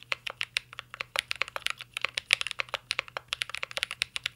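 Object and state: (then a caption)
Mechanical keyboard typing. Fingertips type continuously on a mint-green Cyberboard R3 mechanical keyboard with plastic keycaps and a metal case. About 31 quick, crisp key taps sound in rapid succession, each bright and clicky, centered around 2.3 kHz, with almost no low end and no ring after each tap.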